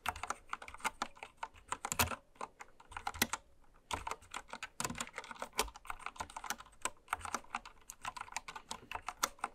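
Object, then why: Plastic mechanical keyboard. A full-size white-cased Candy Series mechanical keyboard with pastel plastic keycaps, lying on fabric, is typed on continuously with long red acrylic nails and fingertips. Quick, bright plastic clicks and clacks come in dense runs with very short decay, broken only by a couple of brief pauses, and there is no whispering.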